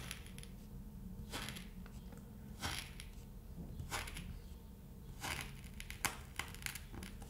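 A thin red stick pokes rows of holes into a flat, solid cut sheet of kinetic sand. Soft, gritty crunches come in irregular bursts over a steady low background hum, each one short with a bright, sandy texture.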